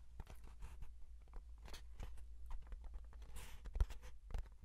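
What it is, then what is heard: Cardboard box. Fingertips and nails tap and scratch the flat face of a small, closed, hollow brown kraft cardboard box held in one hand. The result is a quiet, dense patter of soft, short taps and dry scratches over a steady low hum, with a brief, brighter scraping sweep near the middle.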